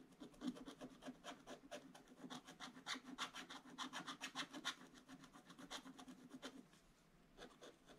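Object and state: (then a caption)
Scratch-art paper being scratched. A wooden stylus scratches fill strokes into a gift box drawn on a black coated scratch-art paper page in an open book. It makes a quick, uneven run of short, dry rasping strokes with a bright, hissy edge over a faint low-mid tone. The strokes ease off near the end before a few final scrapes.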